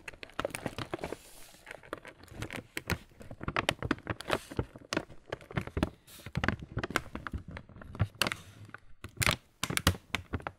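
A full, printed laminated plastic Kellogg's muesli bag standing on a table is tapped and rubbed with the fingertips. The result is a steady stream of dry crinkling and crackling with short, sharp taps that carry a soft low thump and a bright plastic rustle, each sound dying away almost instantly.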